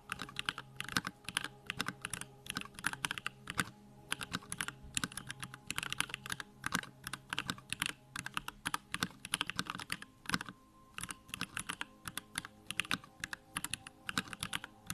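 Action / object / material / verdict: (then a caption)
tap / plastic mechanical keyboard / plastic / none. Fingertips type rapidly on a small 65% Bakeneko65 mechanical keyboard with Durock lavender switches, a plastic case and pink-white plastic keycaps, resting on a wooden desk. A dense stream of short, bright, clacky keystrokes comes in quick bursts with brief pauses, each click dying away almost instantly over a faint, steady low hum.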